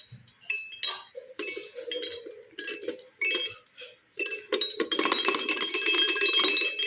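A cartoon egg-shaped plastic baby shaker toy, just taken out of its packaging, is shaken so its contents rattle and clink inside. Bright, clinking bursts come in uneven shakes, starting sparse and building to a loud, continuous rattle in the last couple of seconds.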